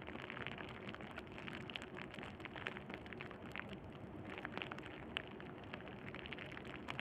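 Crumpled clear plastic bubble wrap, held in one hand near a black cable, is squeezed and crinkled with the thumb. It makes a steady, dense crackle of bright, sharp snaps and pops that die away almost instantly, with a few louder pops standing out.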